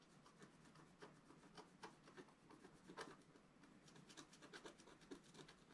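A wooden stylus makes repeated short scratches across the top right of a flat black coated scratch art paper sheet lying on a table. The result is a quiet run of dry, rasping strokes with a bright, papery hiss and a faint mid-range tone around 445 Hz, each stroke dying away almost at once.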